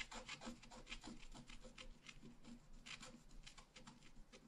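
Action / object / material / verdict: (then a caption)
scrape / black-coated scratch-art paper card scraped with a wooden stylus / coated paper / none. A pointed wooden stylus, held near-horizontal, scratches across a flat black-coated scratch-art paper card lying on a solid table. The strokes make quick, dry, rasping scrapes with a bright hiss, repeating steadily over a faint low rumble.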